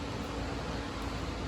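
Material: Nothing is struck.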